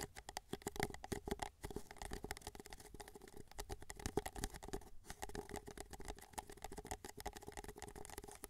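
Fingertips tap and scratch the base of a small, hollow, empty white paper cup held sideways. A quick, continuous patter of soft taps and scratchy rubs carries a hollow midrange tone around 414 Hz, with short dry hits and no ring. It stays fairly quiet and steady the whole time.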